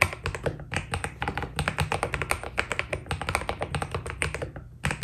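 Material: Plastic.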